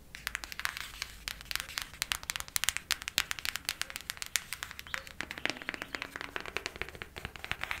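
Long matte black nails tap fast on the front cover of a flat, hand-sized printed cardboard eyeshadow palette. The taps come as a rapid, steady stream of bright, dry clicks with no ring.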